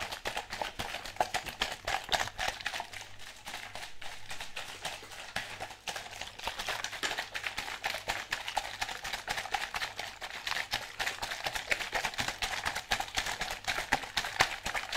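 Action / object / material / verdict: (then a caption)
shake / plastic bottle with liquid inside / plastic / none. A clear plastic bottle partly filled with orange liquid is held upside down or sideways in one hand and shaken. A steady stream of quick, bright sloshing and splashing pulses runs the whole time, with short, dry hits that barely ring.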